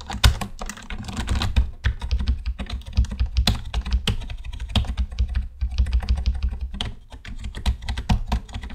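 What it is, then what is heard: Plastic computer keyboard. Fingertips of both hands type on a black plastic computer keyboard in a fast, steady run of short, dry key clicks for about nine seconds. The clicks sit over a deep, thumpy low end, with brief pauses and quick bursts of overlapping keystrokes.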